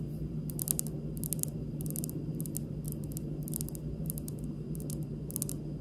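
Long pink nails tap and drum on a large, solid, speckled granite kitchen countertop. Light, slowish clusters of short, bright clicks sound over a steady low hum, each tap dying away almost instantly.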